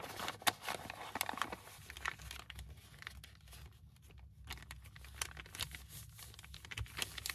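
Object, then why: Brown kraft paper bag. An empty brown kraft paper bag, about the size of a book page, lies flat on a wooden desk while both hands fold, crease and press it flat with the fingertips, rubbing and crinkling the paper. Bright, dry crinkles and sharp little snaps come in quick bursts over a soft rustle, with a quieter stretch of gentle rubbing in the middle before the crisp crackling picks up again.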